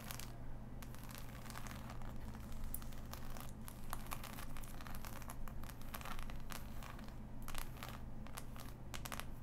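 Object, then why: Cardboard jigsaw puzzle. Fingertips and long nails scratch over a large, flat, assembled cardboard jigsaw puzzle with a glossy print, lying on fabric. The result is a continuous dry, crinkly scraping, dotted with many short, bright ticks and clicks, over a steady low hum.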